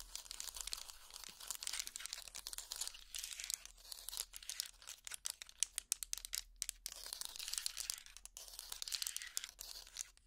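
A wooden hot pad, a trivet made of small linked solid wooden blocks, is held up and scratched with finger picks and fingertips. The result is a dense, crisp, crackling scratch that sits almost entirely in the high frequencies, in uneven bursts with brief gaps and no ringing.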